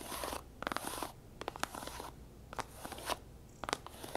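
A flat, rose-pink faux leather tablet folio case lies folded on a table and is rapidly tapped and scratched with long nails across its grooved front. Bursts of dry, bright scratching alternate with short, crisp taps that stop dead, and quieter hissy gaps fall between them.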